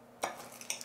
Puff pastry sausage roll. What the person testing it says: when you tap them, you can hear that they are very crispy on the outside